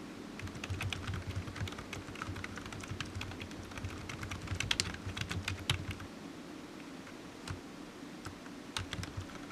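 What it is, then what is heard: Plastic computer keyboard. Fingertips of one hand type on a solid black low-profile plastic computer keyboard resting on a desk mat. Quick, bright key clicks come in bursts, with a few louder taps near the middle, over a steady low hum. Each click dies away almost instantly.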